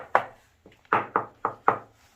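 Knuckles knock five times on a new reinforced plastic bathroom wall panel laid over the existing tiles, each tap a short, hollow, papery knock centered around 1.2 kHz that dies away quickly. The panel sounds different from tile, as expected for this overlay panel.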